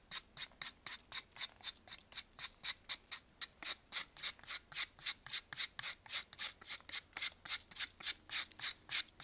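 A metal knife scrapes a solid white faceted block of pressed baking soda held in blue-gloved hands. About 36 quick, evenly spaced, bright raspy scrapes come at a steady rhythm, each short and crisp with almost no low end.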